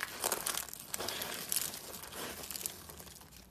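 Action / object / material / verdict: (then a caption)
scrape / dry soap flakes / soap / none. Fingers press and rub through a bowl filled with dry pink soap shavings, crushing the flakes. Bright, crisp crinkling and crunching comes in clustered bursts, with almost no low end, and it tapers off at the end.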